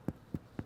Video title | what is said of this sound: Bread Making with MasterChef Plus | when you're baking bread definitely underneath you want to tap it in here hollow sound in there